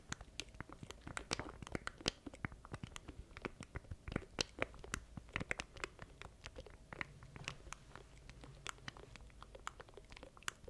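A small black plastic stream deck controller with button keys, held in both hands close to a mic, is tapped and scratched with the fingertips. Dozens of quick, dry, bright clicks and crisp scratches patter unevenly over a faint low hum, each dying away instantly.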